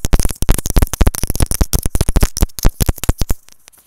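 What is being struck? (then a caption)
Plastic earphone inline microphone. Long decorated nails tap rapidly on the small white plastic capsule of an earphone's inline microphone. About 19 close, deep, thumping taps sound in quick succession, each dying away almost at once, before fading to a few faint taps at the end.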